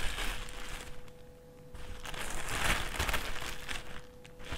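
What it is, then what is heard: Thin plastic carrier bag being crinkled. A thin, empty white plastic carrier bag with handles, a white plastic trash bag, is unfolded, lifted, folded flat on a table and crinkled with the fingers. Soft, papery crinkles and rustles dip quieter early on, then swell into denser, brighter crackling in the middle before easing off again. A faint steady hum sits underneath throughout.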